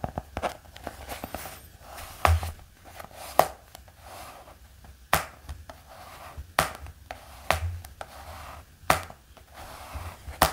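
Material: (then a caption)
Cardboard and paper. Fingertips tap on the cover and edge of a black hardcover notebook with a thick block of pages. The result is a run of short, dry knocks at an irregular pace, some dull and thumpy, others sharper and clickier, each dying away almost at once.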